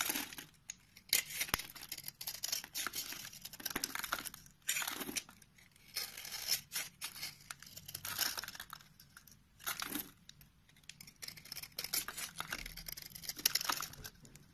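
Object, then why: Bar of soap carved with a blade. A utility knife blade scrapes and carves flaky shavings off a solid, hand-sized, rectangular orange soap bar held in the palm. Crisp, bright scraping and tearing strokes come in irregular bursts with short pauses between them, each stroke dying away almost at once. There is very little low end.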